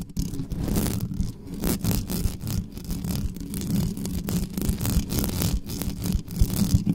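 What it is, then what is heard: Metal microphone grille being scratched. Long nails scratch fast and hard across the mesh grille of an uncovered dark metal USB condenser desktop microphone, working from the sides and the top. The result is a dense, continuous scraping dominated by a heavy low rumble, with rapid bright bursts of rasp flickering through it.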